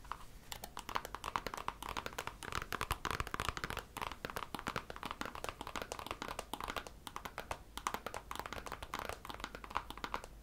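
Long manicured nails tap and scratch along the outer surface and rim of a nude, glossy patent leather pump with a hollow interior, held in the hands. A dense, steady stream of quick, dry clicky taps and light scrapes centers around 1 kHz and dies away almost instantly, over a faint low hum.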